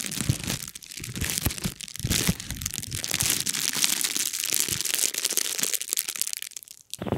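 An empty, flat, thin silver foil-lined bubble mailer envelope with air-bubble padding is held in both hands and squeezed and crinkled by the fingertips, with the fingers rubbing across its surface close to the microphone. The result is a dense, bright run of crinkling, crackling, and crunching that sounds almost continuous, with quick sharp snaps over a softer low rustle. Near the end it goes briefly quiet before one last burst of crinkling.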